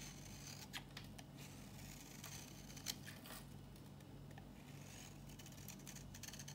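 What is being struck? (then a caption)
Bar soap shaved with a blade. A metal box-cutter blade shaves an old, dry, solid green Nishan soap bar held in the palm into powdery curls. It makes dry, crisp scraping and cutting strokes with bright, sharp clicks that rise above a steady low hum.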